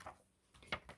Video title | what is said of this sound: What is Banknote Crispness | it is relatively crisp so you can hear the sound that's how you know it's crisp